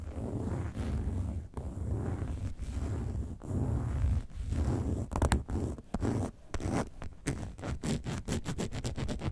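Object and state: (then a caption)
Faux leather bag scratched with nails. Long nails scratch the side and front of a hollow, upright, box-shaped yellow faux leather bag shaped like a lemonade carton. The first half is a steady, low, dull rasping; the second half breaks into quicker, short scratching strokes with sharper, brighter edges.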